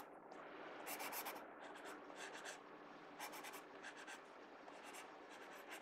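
A pencil tip scratches and rubs shading strokes across the page of an open paper sketchbook. Quick, irregular bursts of bright, scratchy graphite noise rise and fall over a soft, steady hiss.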